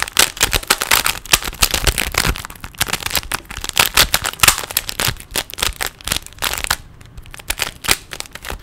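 A small, solid plastic 3x3 Rubik's cube is held in both hands while its layers are twisted rapidly with the fingers. The result is a dense stream of quick, sharp, bright clicks and clacks with almost no ring. There is a brief quieter pause near the end before the twisting picks up again.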